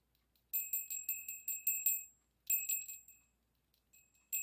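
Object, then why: Small brass bell. A small, hollow, brass-colored bell hangs on a yellow pipe-cleaner loop and is held just above a table by fingers that flick and tap it. It rings in two quick runs of bright, tinkling strikes, then a few softer ones and a final ring. The tones are high and thin with no low end, and each ring dies away fast.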